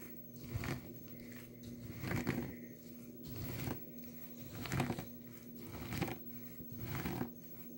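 Crumbled dry blue soap shavings in a small plastic tub are pressed down with a nail polish bottle held in the fingers. Each press gives a soft, low crunching crackle, repeated slowly and unevenly over a quiet, steady hum.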